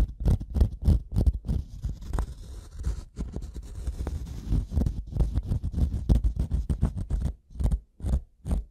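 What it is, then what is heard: Wooden block, scratched and tapped. A solid, light-colored wooden block is scratched and tapped on its top surface with the metal prong tip of a pink-handled tool. Quick, dull taps and scraping strokes come in an uneven run with a deep, low-heavy thud. Each sound dies away almost at once, with a stretch of softer continuous scratching in the middle.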